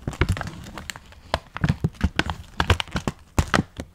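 A full, printed plastic package of dry Chinese noodles, held upright in gloved hands, is squeezed, crinkled and scratched with the fingertips. Sharp, bright crackles and crinkling bursts come in quick irregular clusters over a soft low rumble of handling, with brief dull thumps as the noodles shift inside.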